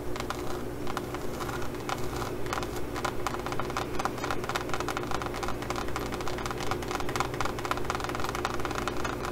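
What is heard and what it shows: Long glitter nails scratch and tap across a green faux leather pouch embossed with small pyramid studs. The result is a dense, steady stream of quick clicking and scratching ticks over a low, constant rumble that continues throughout.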